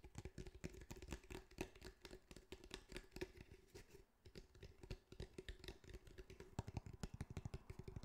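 Fingertips of both hands tap and pat quickly across a grey, hand-sized cylindrical speaker with a woven fabric mesh over a hard, hollow, probably plastic body. The result is a dense run of short, dull, low thumps with little ring, over a faint steady tone. The tapping briefly quiets around the middle before picking back up.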